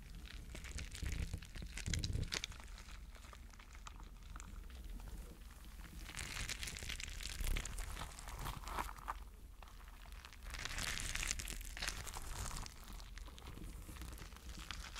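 A spiky clear rubber mesh stress ball filled with gel water beads is pinched and squeezed with the fingertips close up. It gives a steady stream of soft squishy crinkling and crackling over a low rumble. Brighter bursts of squelching rise around the second, seventh and eleventh seconds.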